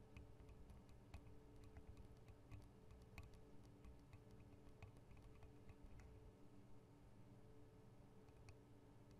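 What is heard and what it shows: Long acrylic nail tips tap the metal guard wings and microphone capsules of a Tascam DR-40 recorder, making a quiet, irregular run of sharp, bright ticks. A steady low hum runs underneath the whole time.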